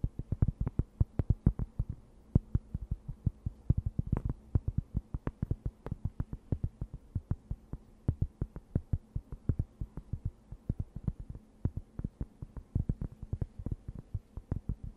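A thin, round, plate-sized cork board, solid and flat, is held in both hands close to the microphone and scratched and tapped with long white-painted nails. The result is a steady stream of quick, dull, low thuds with almost no ring, over a faint low hum.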